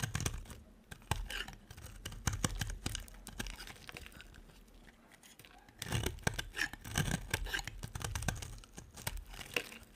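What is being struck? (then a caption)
Bar of soap cut with a metal blade. A solid, cream-coloured bar of dry soap held in the hand is scraped and shaved with a metal blade in repeated cutting strokes, giving off crumbly shavings. Dry, crackling scrapes and tearing crunches come in quick bursts, ease into a quieter stretch midway, then pick up again.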